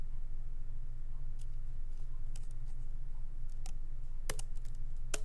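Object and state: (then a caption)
Laptop keyboard with plastic keys. Both hands tap continuously with their fingertips on the low-profile plastic keys of a MacBook Pro keyboard set in a solid aluminum body. Soft, short, bright clicks arrive at an uneven pace, with a few sharper taps near the end, all over a steady low hum.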